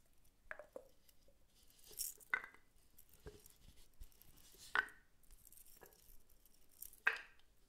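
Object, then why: Wooden cylinder block. A light, solid, hand-sized wooden cylinder with visible grain, held in one hand, is scratched and tapped with long pointed metal claw nails. About eight sharp, dry clicks and brief bright scratching strokes come at an uneven pace over a quiet background. Each tap dies away almost instantly.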